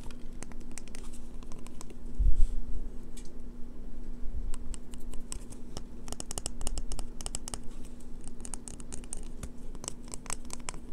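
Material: Soap.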